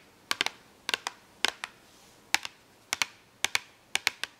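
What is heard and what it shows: Long acrylic nails tap and scratch an open cardboard box full of markers, making sharp, bright clicks. The clicks come in quick clusters of two or three, each dying away almost at once, with short quiet gaps between the bursts.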